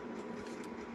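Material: Nothing is struck.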